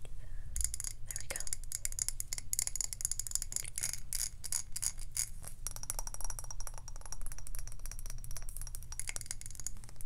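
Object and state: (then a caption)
Glass candle jar. A medium glass jar candle with a glass lid, filled with solid white wax, is tapped all over its glass sides and lid with long acrylic nails. Rapid, dense clicking produces bright, glassy ticks with a faint high ring. A steady low hum runs underneath.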